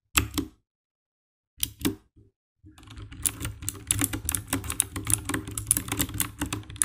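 Fingertips type on the keycaps of a compact 60% black plastic mechanical keyboard with an RGB backlight, with the hands briefly at its edges. A few separate key presses come first, broken by silence, then a steady run of fast tapping. Each press gives a short, bright click over a low, dull thud.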